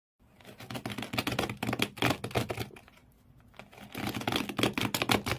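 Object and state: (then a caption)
Cardboard box scratched by fingernails. Both hands with medium-length nails scratch hard across the corrugated cardboard floor inside an empty blue cardboard shoe box, producing rapid, rough, bright scraping strokes with a low hollow resonance. The scratching builds into dense bursts, eases to a quieter stretch around the middle, then returns just as intense.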